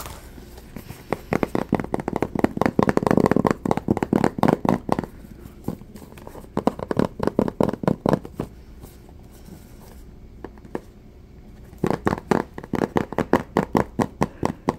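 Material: Cardboard.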